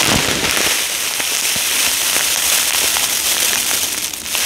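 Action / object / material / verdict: shake / polystyrene foam beads in a plastic bag / polystyrene foam / none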